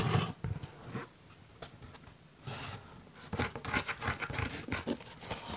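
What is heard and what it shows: A cardboard pizza box is scratched and tapped, giving irregular bursts of dry, rough scraping with soft, dull low thumps underneath. Quieter stretches of faint rustling separate the louder passages, and the scratching grows busier and denser toward the end.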